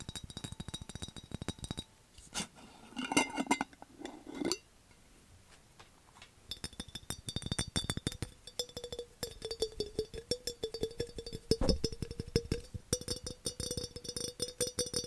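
Fingernails tap rapidly on a dark, hollow glass skull-shaped jar mug with a handle, producing dense, fast glassy clicks and clinks. A steady ringing tone near 500 Hz sounds through the second half.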